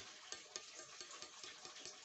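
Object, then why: Steel knife blade. An old steel knife blade marked "Solingen Germany," being rehandled, is tapped seven times, giving short, crisp, high-pitched metallic ticks over a steady hiss. The ring is noted as different and crisp, and the blade turns out surprisingly light.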